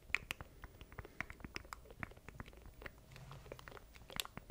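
Fingertips tap and scratch the keys of a small black plastic stream deck controller held in both hands beside a microphone. A rapid, irregular series of sharp, dry plastic clicks and ticks is heard, bright and brief with almost no ring. Soft scratchy rustles fill the gaps between them.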